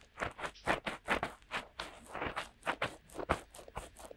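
Fingertips of both hands rub and scratch in and around the openings of the soft, hollow silicone ear-shaped cups on either side of a DuoPop-style binaural microphone with a black body and white ears, mimicking ear cleaning. The result is a quick, irregular series of dry, crackly scratches and rustles, each burst short with no ring, spreading from the mids up into bright hiss.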